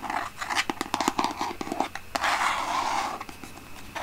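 A large white plastic Aveeno lotion bottle with a pump is held in both hands while long painted nails scratch and tap across its label. Quick, dry taps cut through a steady bright scratching, which swells into a longer continuous scrape midway before settling back to lighter scratches.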